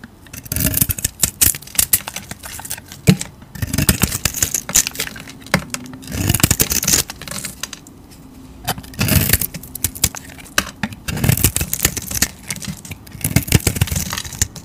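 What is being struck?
Bar of soap.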